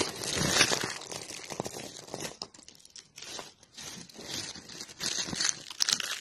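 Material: Soap.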